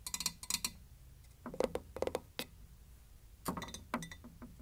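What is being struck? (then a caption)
Ceramic container with wooden lid. A ceramic container with a wooden top is tapped in quick, irregular clusters. The taps are short, bright, glass-like clinks with a ringing tone around 500 Hz. Each one dies away almost at once, with quiet gaps between the bursts.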